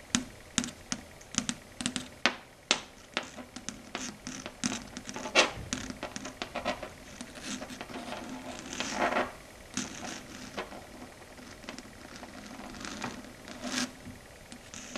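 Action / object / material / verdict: tap / chalkboard tapped with fingernails / slate board / none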